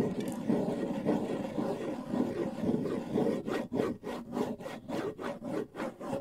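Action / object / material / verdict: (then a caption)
scrape / wooden bongo drum with skin head / wood, skin / none. Fingertips scratch and rub a hollow wooden bongo drum with a skin head, held at the side of the microphone. A steady, dull, mid-pitched scratching runs for the first half. It then breaks into a rhythm of short, separate rubbing strokes at roughly 100 per minute, with little bright content.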